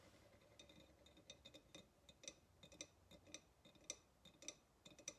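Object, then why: Ceramic pottery vase. Long nails tap around the neck and rim of a hollow ceramic pottery vase standing upright, giving about nineteen quick, uneven taps. Each tap is a bright, glassy click with a faint high ring that dies away almost at once, over a quiet, soft background.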